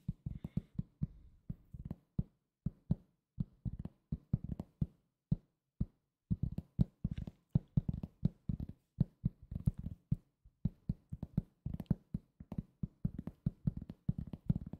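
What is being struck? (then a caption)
Round cork coaster. A thin, solid round cork trivet or coaster is tapped and scratched with fingertips and short nails. Quick bursts of dull, low, dry taps stop almost instantly, with short pauses between runs and a faint scratchy texture.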